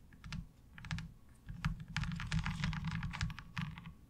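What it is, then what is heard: Plastic ribbed laundry washboard. Long nails tap quickly across the ridged surface of a light blue ribbed plastic laundry washboard. The result is a fast, uneven run of short, dry clicks with a soft low thump under each tap, arriving in bursts with brief pauses between them.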